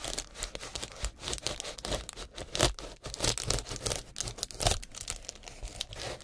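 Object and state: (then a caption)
Foil bubble insulation sheet. Gloved fingertips crinkle and rub a large, light, flexible sheet of reflective foil-faced bubble insulation made of metallized plastic with hollow air bubbles, with similar foil wrap nearby. A dense, continuous run of sharp crinkles and crackles fills the clip, bright and rustling with short tearing-like bursts. Each snap dies away almost instantly.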